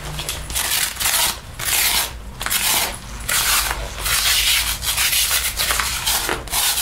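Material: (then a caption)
Synthetic leather. A sticky paper lint roller is rolled and rubbed along the sleeve and front panel of a black faux leather jacket being worn. The result is a bright, continuous rolling hiss with crackling as the tape peels off the synthetic leather, swelling and fading in repeated, uneven strokes.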